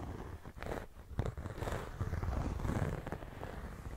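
Fingertips and nails tap and scratch the surface of a flat, medium-size pink croc-embossed faux leather clutch pouch with a zipper, which is likely empty. Soft, muffled taps mix with rough scratching, mostly low and dull with only faint brightness, and each tap dies away quickly.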